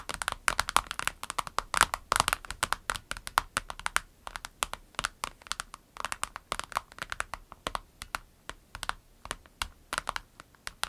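Long nails tap quickly across a small, clear orange transparent vinyl pencil case with pens inside, lying flat on a table. About sixty short, dry, crisp clicks with a bright crinkly edge come in an uneven, rapid patter. Each tap dies away instantly with almost no low end.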